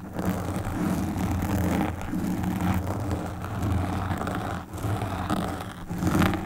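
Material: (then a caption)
Foam. Long pink nail tips scratch the sides of a black foam windscreen on a desktop microphone. The result is a steady, dense, low rumbling scrape with a muffled, boomy character and almost no high end, easing briefly around two seconds and again near four and a half seconds before swelling back up.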